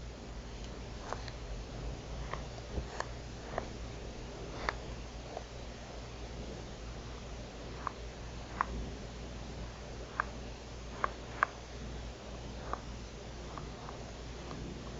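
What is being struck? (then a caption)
Plastic remote control with rubber buttons. A black plastic TV remote control with rubber buttons and a hollow body is tapped and scratched on its buttons and casing with long nails. About a dozen short, sharp clicks ring out irregularly over a low, steady hum, with faint scratching in between.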